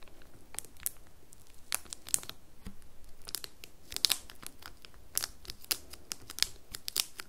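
Long nails scratch and tap the top and sides of a small, square, red printed cardboard soap box held upright on a table and wrapped in crinkly plastic film. The result is a quiet run of sharp, bright crinkles and clicks with almost no ring. A faint low rumble sits underneath throughout.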